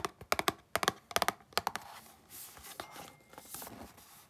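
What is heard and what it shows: Long glittery pink nails and fingertips work over the flat printed surface of a small, hollow, closed cardboard retail box of mango mochi held in both hands over a green mat. Eleven quick, dry, bright taps click out in the first couple of seconds, then they give way to a softer, hissy scratching and rubbing across the cardboard.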